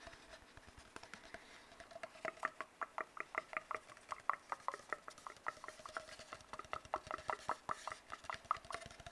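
Fingertips tap quickly and irregularly on an empty, hollow brown cardboard tube while fingernails scratch along its surface. Each tap is a short, dry, hollow knock with a mid-range tone and almost no ring, over a soft, bright scratching hiss. The sound is quiet with very little low end.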